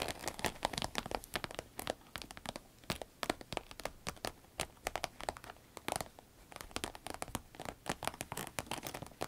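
Long red nails tap and scratch along the top and zipper of a small, hollow, soft cylindrical green vinyl zip pencil case. The result is a steady stream of quick, dry, crinkly taps and scratchy rustles with a bright edge and very little low end, each sound stopping almost at once.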